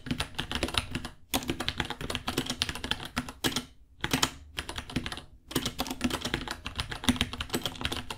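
A small white 66-key mechanical keyboard with Gateron Brown switches, white plastic keycaps, a hollow case and pink underglow, priced at $60, sits on a white desk while both hands type on it with their fingertips. Rapid, bright, clacky key taps with a hollow low thump come in bursts, separated by brief pauses around 1, 4 and 5 seconds.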